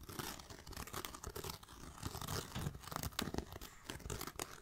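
Fingertips and nails tap and scratch the grained surface of a small black pebbled faux leather backpack with a striped band and a bee brooch. The result is a dense, close stream of dry crackling scrapes and soft, short taps with a bright, rustling texture over a muffled low thump.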